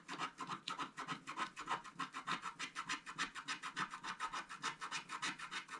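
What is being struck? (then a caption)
Scratch-art paper card scratched with a wooden stylus. A wooden stylus scratches the black coating of a flat, thin scratch-art card while the other hand steadies the card. Quick, fairly regular strokes of about 200 per minute each make a dry, raspy scrape with a bright hiss centered near 950 Hz and little low end, and every stroke cuts off sharply.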